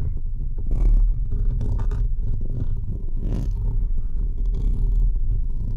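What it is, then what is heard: Metal mesh microphone grille being scratched. Both hands scratch the uncovered, hollow, perforated metal mesh head of a large microphone with fingertips and short nails. The result is a continuous, dense, booming low rumble and crackle, with brief brighter scraping bursts over a steady, loud level.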